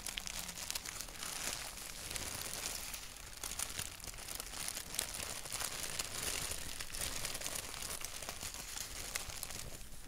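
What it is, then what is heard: Paper sheet scratched and tapped. Fingertips scratch and tap a thin white paper sheet printed with a black doodle, making a steady, dense stream of bright, dry crinkling and scratching with soft, quick taps mixed in. The sound stays quiet and close, with a faint low rumble underneath, and each small tap dies away almost at once.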